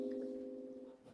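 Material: Nothing is struck.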